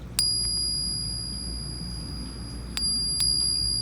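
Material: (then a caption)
Gold. A genuine gold Krugerrand coin is struck and rings with a clear, sustained high tone, with a fainter overtone above it. The ring lasts over a low background hum and is renewed by later taps. This is the nice ring of a real Krugerrand, the same kind of sound American Eagles make, and it is used as a ring test to tell whether the coin is real.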